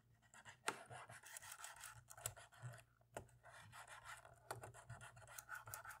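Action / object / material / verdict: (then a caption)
scrape / plastic laptop keyboard scrubbed with a cotton swab / plastic / none. A cotton swab scrubs between the keys of a dirty black plastic laptop keyboard, making quiet, dry, scratchy rubbing. A few sharper clicks and ticks stand out as the swab catches on the key edges.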